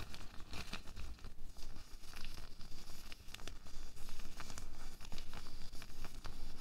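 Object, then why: Latex glove. A loose, empty pink latex glove is crumpled and stretched between the fingertips of both hands. It makes a continuous run of rubbing, crinkling and crackling over a low rumble, with sharp snaps and squeaks popping out of the texture.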